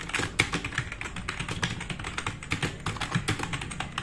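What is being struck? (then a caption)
Plastic mechanical keyboard. Fingertips of both hands type fast on a black, RGB-backlit, tenkeyless plastic mechanical keyboard with plastic keycaps resting on a wooden desk. A rapid, continuous stream of short, sharp clacks has a bright click on top and a soft low thud underneath, with each keystroke dying away almost instantly.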